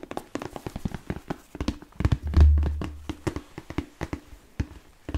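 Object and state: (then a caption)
Leather boot tapped with fingertips. A hollow, empty smooth black leather Chelsea boot, with an elastic side panel and a thick yellow-stitched sole, is held up in the hand and tapped with fingertips and nails. A steady run of soft, dull taps and thunks is heard, with a deeper, louder hollow boom swelling up midway before the light tapping continues.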